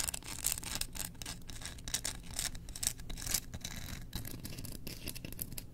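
Long nails scratch the handle of a solid, engraved bamboo slotted spoon held up in the air. The result is a steady, dry, bright rasp, with rapid close-set strokes and a low rumble beneath it.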